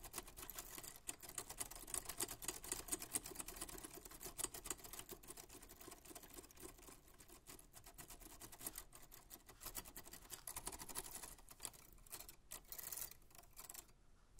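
A 1940s Smith-Corona manual typewriter with a black metal body and paper loaded is typed on rapidly by white-gloved fingertips. Dense, irregular mechanical key strikes and bright typebar clicks patter on steadily, with a few brief pauses near the end.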